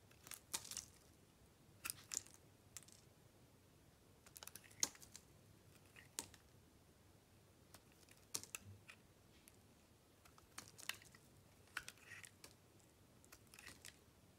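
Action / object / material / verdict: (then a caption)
scrape / bar of soap cut with a metal blade / soap / none. A solid white bar of soap is held in the hand while a metal blade carves off curled slices. Quiet, crisp, bright scraping and crackling bursts come in irregular strokes, each fading almost at once.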